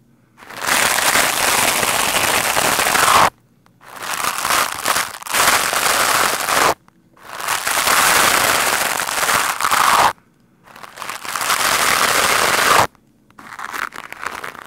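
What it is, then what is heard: Foam microphone windscreen being brushed. A green plastic scrub brush with stiff white bristles, held in the hand, is rubbed quickly and hard over a large black windscreen of soft, porous foam on a microphone. The result is dense, bright, crackling scratching noise in fast bursts of a few seconds each, broken by brief silent pauses.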